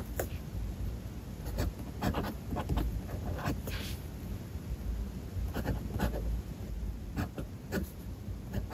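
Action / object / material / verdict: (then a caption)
scrape / steel fountain pen nib on a paper notebook page / paper / none. A steel fountain pen nib scratches across a page of a spiral-bound paper notebook as a hand writes text. The sound is a series of quiet, dry scratches with bright edges over a soft low rumble. It has no clear rhythm.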